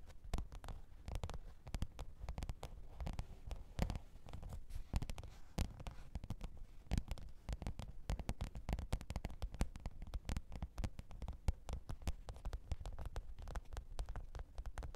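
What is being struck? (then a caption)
Faux-leather hard-shell zippered case. Long pointed nails tap and scratch the top of a black, textured faux-leather hard-shell microphone case with a zipper, lying flat on fur. The result is a steady stream of quiet, rapid taps with dull, low thumps and short clicks that stop at once, under a faint scratching texture.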